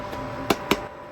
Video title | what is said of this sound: How to make Arepas | To make sure your arepas are ready is when you feel the hollow sound. It has to make that sound.